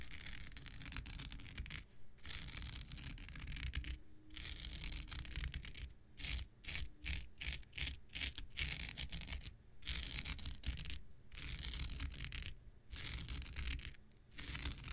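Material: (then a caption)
Synthetic fiber. An X-Acto knife blade scratches across a thin, hand-sized blue non-woven synthetic fiber scouring pad held in the hand. The result is a bright, dry rasping of repeated strokes, some long and some quick, broken by brief pauses over a faint low rumble.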